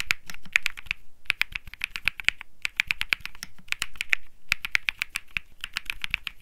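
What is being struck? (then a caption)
Mechanical keyboard with plastic keycaps. Fingertips type in quick bursts on the plastic keycaps of a compact Think 6.5 mechanical keyboard with an aluminum case, PC plate and Bsun Lollipop switches. Each stroke is a short, crisp clack with a bright, snappy top around 2.3 kHz and a soft low thud beneath, dying away almost instantly. Brief pauses separate the flurries of keystrokes.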